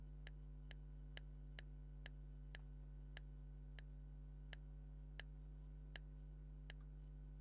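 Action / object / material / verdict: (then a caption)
tap / leather maraca / leather / none. A hollow black leather maraca is tapped with a thumbnail, producing twelve quiet, bright clicking taps at a slowing, irregular pace. Each tap is short and sharp, heard over a steady low hum that fills the background.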